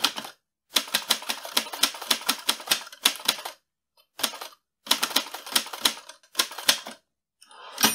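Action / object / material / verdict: tap / metal manual typewriter / metal / none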